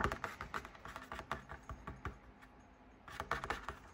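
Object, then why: Fabric drum lamp shade. Fingers tap and scratch quickly on the outside and top of a large, hollow fabric drum shade on a lit floor lamp. The result is a rapid run of short, dull, papery taps with a soft scratching texture, a brief quieter stretch in the middle, then another burst of taps.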